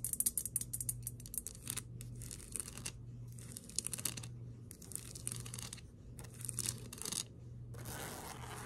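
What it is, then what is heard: Glass snow globe. Long acrylic nails on both hands tap and scratch a small snow globe with a liquid-filled glass dome on a white base, standing on a table. Bursts of bright, crisp tapping and scratching come in quick runs separated by short pauses. A steady low hum sits underneath throughout.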